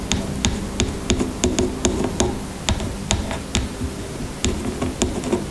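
Long nails tap a plastic shampoo bottle with liquid inside as it lies on a table. Sixteen quick, sharp clicks with short rings sound over a low, steady background hum.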